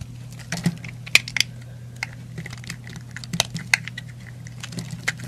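A yellow utility knife blade carves and scrapes curls and chunks off the edge of a solid yellow-orange bar of soap held in hand, and the flakes pile onto a white surface. Short, crisp, bright cuts and scratchy scrapes come at an irregular pace over a quiet, steady low hum.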